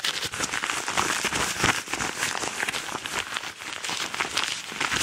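A yellow Amazon kraft paper padded mailer, crinkled and hollow, is scratched fast and aggressively with fingernails and squeezed. The result is a dense, continuous bright crinkling and scratching with rapid crackly bursts and almost no low end.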